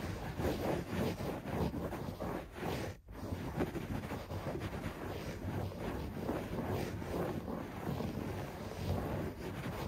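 Fingertips scratch fast at a beige shag carpet on the floor, making a steady, dense rustling scrape that sits mostly in the low and middle range with little bright top. The scratching runs continuously except for a brief pause around the three-second mark.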